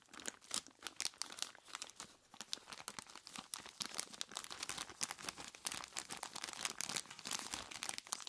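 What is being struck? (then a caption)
Plastic bag full of ice cubes. Long plastic claws grip and squeeze a large clear plastic bag full of ice cubes, producing a dense run of bright, crisp crinkles as the plastic rustles and the ice shifts and crunches inside. The sound is almost entirely high-pitched with no low rumble, made of rapid short snaps that die away instantly.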